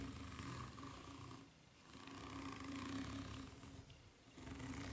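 Long nails scratch slowly across the serrated underside of a white ridged rubber flip-flop sole. The result is a steady, raspy scraping with a low droning tone, swelling and fading in slow passes with brief quieter dips between them.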